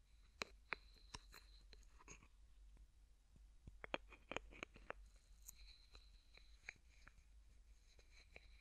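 A small, hollow, opaque yellow plastic bottle, like a cosmetic or sunscreen bottle, is held in one hand while the fingertips of the other grip and twist or click its yellow plastic cap over and over. The result is a quiet run of sharp, dry plastic clicks and ticks with bright crackly edges and no ring, scattered irregularly across the clip over a faint low hum.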